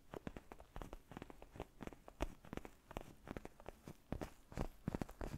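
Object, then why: Padded faux-leather neck pillow. A black padded faux-leather gaming chair neck pillow, soft and foam-filled, is held close to a fluffy microphone and scratched and tapped with fingertips and short nails. The result is a quiet, dense run of soft, dull scratches and taps that are mostly low and muffled, with brief brighter scrapes and no ringing after each touch.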